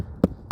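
A hammer knocks twice on shingled roof sheathing while checking where to place a fall-protection anchor. Each knock is a short, low, drum-like thud that dies away quickly. The spot sounds hollow, meaning the decking spans between rafters with no rafter underneath.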